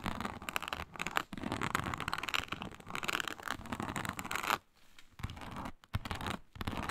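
Long nails scratch firmly across a flat, iridescent faux snakeskin mat of embossed reptile-pattern synthetic leather. The result is a dense, raspy scratching texture of rapid strokes spanning low to bright tones. It stops in brief pauses near 1.3, 4.6–5.2, 5.8 and 6.5 seconds.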